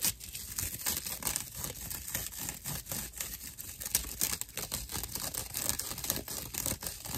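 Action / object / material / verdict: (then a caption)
scrape / dry natural loofah sponge / plant fibre / none. A dry natural loofah pad, held upright in both hands, is scratched with the fingernails of both hands. The result is a continuous, rough, crackling scratch made of dense, quick bursts, mostly bright with little low end, steady in level for about seven seconds.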